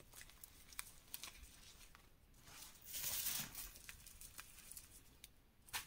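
A mound of dry, pink-dyed reformed gym chalk powder with soft lumps is pressed and crushed by bare fingertips and palm. The result is a bright, crumbling crunch made of many short clicks and crackles. A denser, louder burst of crushing comes around the midpoint.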